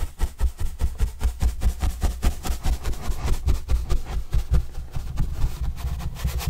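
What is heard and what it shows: A paintbrush is swept repeatedly across the surface of a large, flat, white corrugated cardboard pizza box with green edges, held upright and hollow. About sixteen soft, scratchy brush strokes come in a loose, uneven rhythm, each with a deep, hollow, boomy low thump from the box. The strokes stop quickly with no lingering ring.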